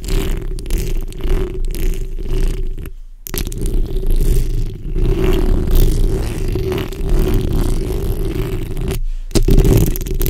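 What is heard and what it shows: The backs of long pink and red acrylic nails on both hands scratch the hollow metal mesh grille of a large black condenser microphone. The result is a dense, continuous rasping scrape with a heavy, rumbling low end and a steady mid-low hum. It breaks off briefly near the 3-second mark and again near the 9-second mark.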